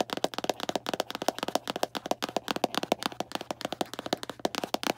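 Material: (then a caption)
Cardboard. A small Arm & Hammer cardboard baking soda box is held in the hand and tapped quickly with long black nails. About thirty sharp, dry taps come in a rapid, uneven run, each with a hollow tone near 700 Hz and almost no ring.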